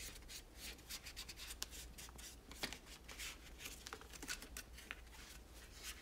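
A hollow plastic toy tower with teal and pink parts is rubbed and wiped with a cloth by fingertips. Soft, bright swishing and scratchy rubbing come in uneven strokes, with small sharp taps mixed in over a low steady hum.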